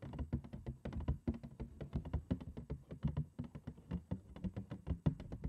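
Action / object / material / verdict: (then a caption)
tap / cardboard cereal box / cardboard / none. A large, hollow, printed cardboard cereal box held upside down is tapped on its front panel with long acrylic nails. The result is a quick, uneven run of soft, low, hollow taps with dull thuds and almost no ring.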